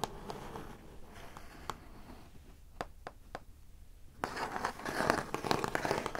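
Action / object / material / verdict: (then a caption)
tap / corrugated cardboard box / cardboard / none. Long acrylic nails on both hands tap and scratch the lid of a large, hollow, brown printed corrugated cardboard shipping box. Soft, papery scratching is broken by sharp, crisp nail taps, with a few isolated clicks near the middle. From about four seconds in, the tapping and scratching turn louder and busier in a dense, crackly burst.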